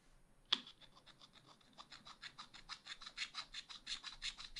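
A thin wooden stylus scratches a black wax-coated scratch art page lying flat in a spiral pad, working inside the ice cream outlines. A sharp scrape opens the clip, followed by a steady run of quick, dry, bright scratching strokes with almost no low end, growing slightly louder toward the end.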